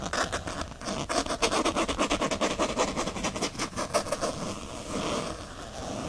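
A textured faux leather planner cover printed with a bookshelf design, lying flat, is scratched quickly with the fingertips and short nails. The result is a steady run of short, dry scraping strokes with a mid-range rasp and some high hiss, easing off toward the end.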